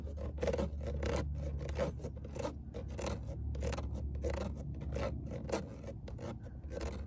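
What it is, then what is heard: Perforated metal speaker grille scratched. Long nails scratch lightly, stroke after stroke, across a fine-mesh perforated metal speaker grille in a car door with a hollow space behind it. The result is a dry, raspy scraping with a faint hollow tone around 450–500 Hz, over a steady low hum.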